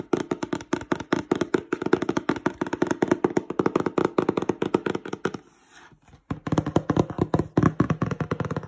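Fingertips rapidly tap, rub and scratch the side and then the front of a glossy printed cardboard box for Christmas lights, making dense, dry, short knocks with a hollow mid-low body. A brief quieter gap of soft scratching falls in the middle before the fast tapping resumes.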